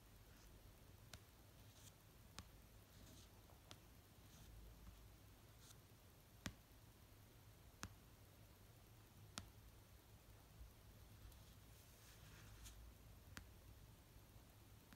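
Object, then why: Paperback book cover. Fingernail tips slowly tap the cover of an orange paperback novel resting on a blanket. Eight sparse, short, crisp ticks stand out with long pauses between them over a quiet, steady low hum.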